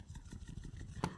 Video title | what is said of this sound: Mouse Wireless Razer Paling Kecil,Ringan Dan Murah! Review Razer Orochi V2 Wireless Gaming Mouse | Kalau kita goncang mouse ni kuat-kuat, anda akan dapat dengar bunyi lah.